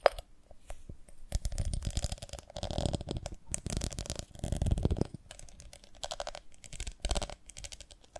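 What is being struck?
Ribbed glass honey jar.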